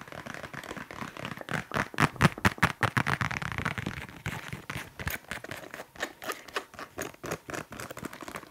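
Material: Leather.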